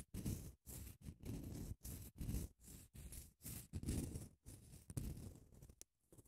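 Long acrylic nails scratch across the surface of a long grey padded emery grit nail file. The result is a rapid series of short, rough scratching strokes separated by brief silent gaps, with a soft, dull body and a faint bright hiss. The strokes thin out and go quiet near the end.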